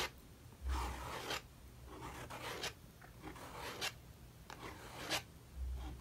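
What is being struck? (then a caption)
Metal palette knife on painted paper sketchbook page. A metal palette knife is dragged and scraped across the wet acrylic paint on the right page of an open paper sketchbook lying on a wooden table, while the other hand steadies the book, to rework an abandoned page. Five rough, raspy scraping strokes are heard, each a bright, papery scratch over a low rumble, with short pauses between them.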